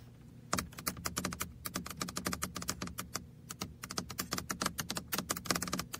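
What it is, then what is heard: Hollow plastic toy car mouse. Fingertips and nails tap the roof and sides of a small, red, hollow plastic computer mouse shaped like a toy car, held on the lap. After a brief quiet start, dozens of quick, sharp, bright clicks follow in an uneven, typing-like rhythm, each dying away almost instantly over a faint, steady low hum.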